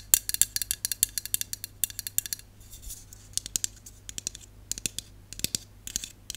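Long nails tap rapidly on the body and bottom of a hollow aluminum Dove aerosol dry shampoo can held in the hand. The result is dozens of sharp, bright, clicky ticks with almost no ring and little low end, coming in quick bursts with a brief quieter lull partway through.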